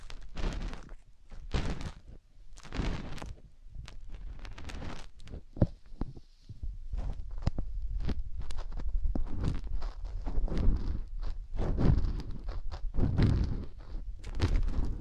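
A hand covers the silicone ear of a binaural microphone, then fingers squeeze and rub it and scratch it with long nails. Heavy, muffled low thumps and rustling rubs come in irregular bursts, with brief bright scratching crackles over the top.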